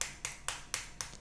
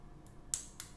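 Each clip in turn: First: slightly hollow plastic charger body. Second: solid dense plastic charger body.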